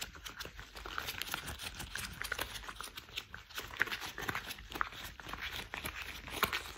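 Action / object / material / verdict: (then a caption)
scrape / thick rubber household gloves / rubber / none. Gloved fingers in worn, thick cream rubber household gloves are rubbed and squeezed together, making a steady run of dense, crinkly rubbing noise. Short, bright rubber squeaks pop out now and then above the friction. The sound is close and dry, with almost no low end and no lingering ring.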